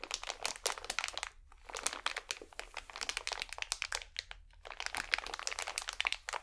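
A small, full pack of cotton swabs wrapped in crinkly plastic film is squeezed and crinkled between both hands. Dense, bright crackles and crunches come in bursts with brief quiet gaps between them.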